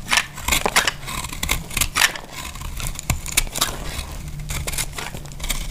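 A small knife slices flakes off a solid, dry orange soap bar held in the hand. Repeated crisp, crackly scraping cuts come in bright bursts with very short decay over a faint low rumble.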